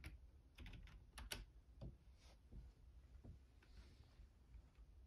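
Both hands type fast with their fingertips on a black plastic Logitech keyboard. Quiet, irregular clicky keystrokes with bright ticks come in uneven bursts over a low, steady rumble.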